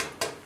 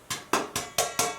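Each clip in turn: First: steel expansion tank sounds solid at top (water-filled). Second: hollow air side of an expansion tank.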